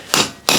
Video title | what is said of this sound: Willys Jeep Rear Disc Brake Conversion Kit | it'll go from like a hollow sound to a a solid thump